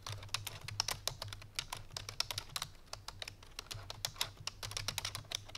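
A full-size black plastic computer keyboard resting on a white fur rug is typed on quickly with the fingertips and painted nails of both hands. Dense, crisp, bright clicks and taps tumble out in fast bursts, each dying almost instantly, over a faint steady low hum.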